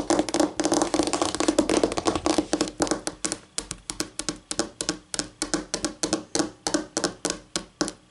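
Medium-length acrylic nails, pink on one hand and dark blue on the other, tap repeatedly on a flat, solid white laminate tabletop with a faint wood-grain texture. The sharp, bright clicks die away almost instantly, coming in fast, dense flurries at first and then settling into slower, evenly spaced taps.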